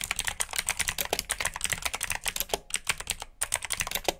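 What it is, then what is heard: Mechanical keyboard with clicky blue switches. Fast typing by fingertips on the keycaps of a black plastic RGB mechanical keyboard with blue switches produces a rapid stream of sharp, bright clicks. The clicks come in quick bursts with two brief pauses, and each one dies away almost instantly.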